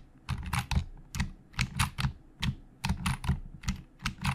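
Fingertips of both hands type on the hollow plastic keys of a black plastic Logitech full-size keyboard resting on a desk. About sixteen short keystrokes land at an uneven pace, each a dull low thump topped by a bright plastic clack that dies away almost at once.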